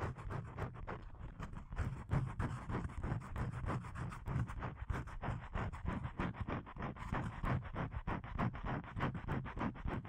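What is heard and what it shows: Fingernails scratch the surface of a thin, flat blue paper card (cardstock), about hand width, held upright in both hands. Rapid, steady strokes make a continuous dry, papery rasp with a low, muffled body. The card's surface gives a soft, slightly uneven scratching texture.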